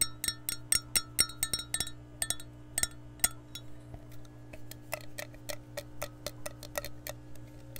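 Long nails tap the base and rim of an empty, hollow, clear glass measuring cup as it is turned in the hand. The result is a quick, uneven run of sharp, bright clicks with very short glassy pings. Partway through, the taps grow softer and duller over a steady low hum.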